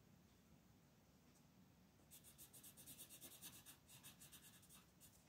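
A light-orange wooden colored pencil scratches short strokes on a flat printed paper coloring sheet lying on a desk while the other hand holds the sheet. After about two seconds of near silence, a quick run of bright, dry scratching strokes follows at a steady back-and-forth pace until the end.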